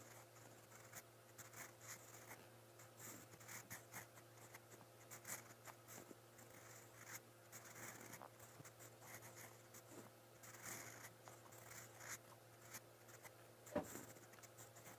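A steel fountain pen nib scratches across a lined white paper notebook page while writing brown Korean letters. Quiet, bright scratching strokes rise and fall continuously over a steady low hum, with one sharper stroke near the end.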